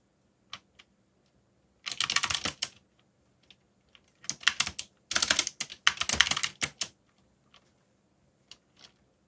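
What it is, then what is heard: Plastic mechanical keyboard. Fingertips type on a backlit plastic mechanical keyboard with dark plastic keycaps. Bright, short clacks come in three dense bursts of fast typing, with a few isolated single key taps before, between and after them.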